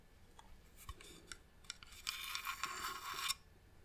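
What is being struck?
Varnished wooden box.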